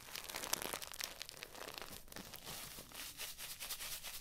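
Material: Paper.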